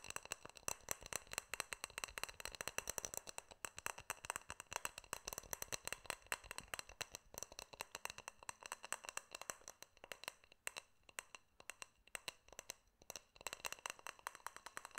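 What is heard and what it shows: Fingernails tap and rattle-click on a small, hollow, clear glass jar with a silver metal lid, held close to the microphone, striking both the glass and the lid rim. A fast, steady stream of sharp, bright clicks runs throughout, each dying away instantly with almost no low end.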